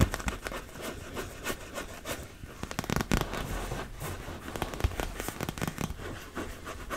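A large, fully inflated, hollow blue and yellow PVC beach ball is held near the mic while long red nails tap and scratch its plastic surface. The result is a steady stream of dry, crackling scratches and sharp taps with a low, hollow thump underneath. The taps and scratches come in irregular bursts throughout.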